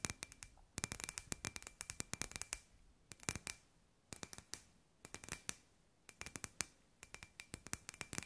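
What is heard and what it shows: Long grey nails tap a hollow, hand-sized clear glass sphere with LED fairy lights inside, a glass ball lamp. Quick bursts of sharp, bright clicks come in clusters separated by short pauses. Each click dies away almost instantly over a faint steady ringing tone.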